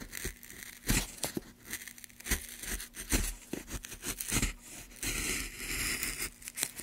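A steel gouge carves and scrapes along a channel in a solid, light pine block held by a gloved hand. Dry, crackly scraping and tearing strokes come in uneven bursts, with a low steady hum underneath and a longer rasping scrape near the end.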